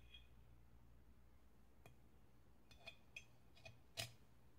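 Long metallic nails tap the sides of a hollow, medium-sized, dark glazed ceramic oil warmer with a lit tealight inside. Several short, bright, glassy ticks ring out sparse and uneven over a steady low hum, and the last tap is the loudest.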